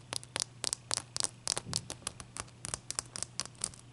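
Long nails tap and scratch the surface of a single wet, solid clear ice cube resting on a towel as it melts. Nineteen quick, bright clicks and short scrapes land in an irregular rhythm, each dying away instantly, over a faint low hum.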